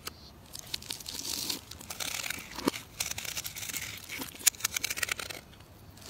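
A metal carving knife cuts into a partly carved, solid green bar of soap held in the hand. The clip is full of crisp, bright scraping and crunching, like brittle tearing. Quick little cuts cluster into bursts, with one sharper snap near the end.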